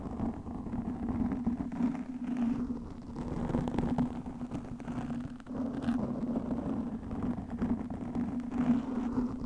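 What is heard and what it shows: A black, soft, porous foam windscreen over a microphone is scratched with long nails, producing a continuous dense rustling scrape. The sound holds a steady low hum near 230 Hz, with brief dips in level around the middle, and it carries almost nothing bright.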